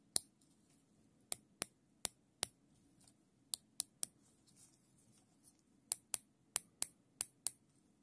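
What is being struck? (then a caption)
Nylon zip tie. Gloved fingers ratchet the tail of a looped, thin black nylon zip tie through its locking head. Fourteen sharp, bright clicks ring out in irregular bursts over a faint low hum, with a few softer scrapes in between.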